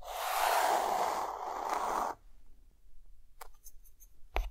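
A white chalk stick draws zigzag strokes across a dark, flat, solid chalkboard with mountains drawn on it, producing a loud, bright, grainy scratching for about two seconds. The scratching then stops abruptly, leaving a quiet stretch broken by a few short, sharp chalk ticks and taps.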